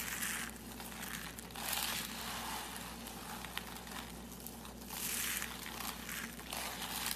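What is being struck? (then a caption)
Shredded soap strands. Bare hands grab, squeeze and crunch a heap of fine, curly, dry soap shreds in purple and pale green, breaking the brittle strands. Bright, crackling crunches swell and fade in several waves over a steady low hum.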